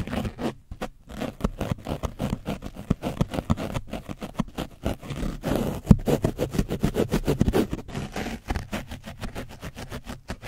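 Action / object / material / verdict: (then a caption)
scrape / foam microphone windscreen with dried paint / foam / none. A foam brush is scraped rapidly and roughly back and forth over an orange foam microphone windscreen coated in dried paint. The result is a dense run of short, scratchy, muffled brushing strokes, heavy in the low end with little high sound, each stroke dying away almost at once.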